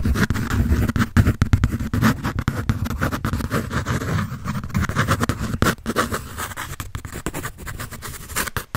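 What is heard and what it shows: A pencil shades and scratches across a large paper sheet on a held sketch pad. Dense, irregular scratchy strokes run throughout, with a heavy low rumble and brief dry gaps between bursts. The strokes grow slightly quieter toward the end.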